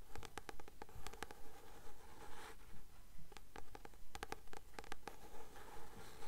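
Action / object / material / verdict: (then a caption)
tap / paperback book with card cover / paper / none. Long nails tap and scratch the glossy card front cover of a blue paperback novel, "The Titan's Curse," a solid paper book held upright. Quick, crisp clicking taps come in a steady, regular rhythm, mixed with soft scratching over a low, quiet background.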